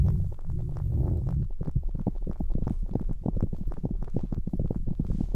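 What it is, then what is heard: Faux fur earmuffs. Fingers press and rub red synthetic-fur earmuffs on a mannequin head, making a deep, muffled rubbing sound. A steady low rumble in the first second and a half gives way to a quick series of soft, thumping strokes with almost no bright edge.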